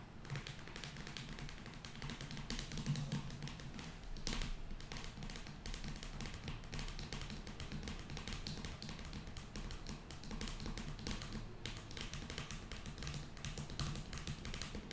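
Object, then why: Cardboard eyeshadow palette. Long nails tap rapidly and steadily on the inner lid of an open cardboard eyeshadow palette with pans. The result is a dense run of short, dry clicks that fade almost at once, with bright ticking edges over a soft, low body throughout.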